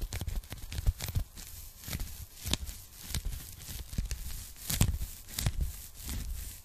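Long painted nails and fingertips tap and scratch across a thin, flat, hollow pink polyethylene foam packing sleeve held up behind the microphone. Soft low thuds mix with sharp, bright crackly taps. Papery scratching rustles fill the gaps, and each tap dies away almost at once.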